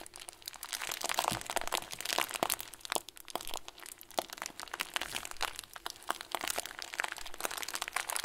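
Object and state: Plastic bag of small foam beads.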